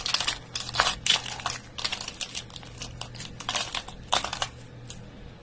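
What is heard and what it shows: A bare hand grabs, squeezes and crumbles handfuls of brittle dry soap flakes from the same pile, now crushed into smaller crumbs. The sound is a dense run of dry, bright crunching and crackling bursts with short, quick-fading grains over a faint low hum.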